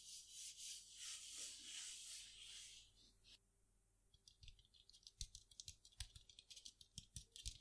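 A pair of palm-sized, hollow, blue-grey metal Chinese baoding balls held in one hand is shaken and rotated so they click against each other and ring inside. For about three seconds there is a steady, bright, hissy jingling. After a brief quiet pause, a run of sharp, irregular metallic clicks follows.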